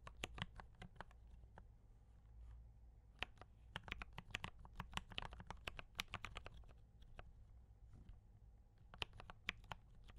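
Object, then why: Mechanical keyboard with plastic keycaps. Fingertips of both hands type on a D84 mechanical keyboard with brown switches and cream and red plastic keycaps. Quick, sharp, bright clacks come in irregular bursts with very short decay over a steady low hum.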